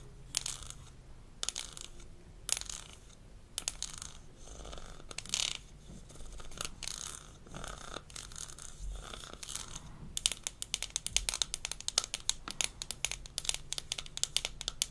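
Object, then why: Small plastic toy cup. Long nails tap and scratch the sides of a small, empty, hollow blue plastic toy rinse cup from a Melissa & Doug dentist kit. Bright, dry scratching and clicks fill the first ten seconds, then give way to a rapid run of sharp, quick taps.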